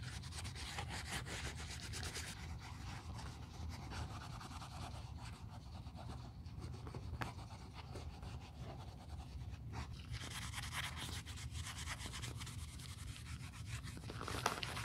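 Gloved hands rub the surface of an aged black quilted calfskin Chanel 2.55 Reissue flap bag, medium size, hollow and apparently empty, with a cotton pad held in metal tweezers during restoration. A soft, steady rubbing and wiping texture rises and falls over a quiet low rumble, with bright, scratchy swishes.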